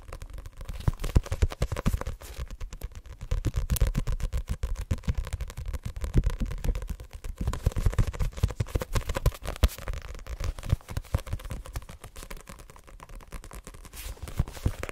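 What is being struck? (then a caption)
Paperback book with card cover. Long nails rapidly scratch and tap the card cover of a solid *Assassination Classroom* paperback held close to the microphone. The result is a dense stream of short, dry, muffled taps with a deep, low-heavy thump, and almost no high brightness. Each tap dies away almost instantly.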